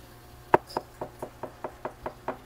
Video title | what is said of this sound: Water Resistant na Itel at Infinix Phones Murang Bilihan ng Android TV at Appliances Bodega ni Kuya | parang kumakatok ako sa pinto